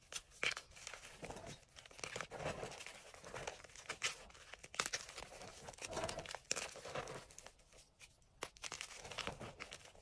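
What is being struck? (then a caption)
Gym chalk blocks and powder in a bowl. Hands grab and crush brittle pieces of white and pale green dyed gym chalk blocks and powder in an enamel bowl, pressing them with the fingertips. Dense, dry crunching and crumbling crackle throughout in bright, sharp bursts with little low end, each crack dying away almost instantly.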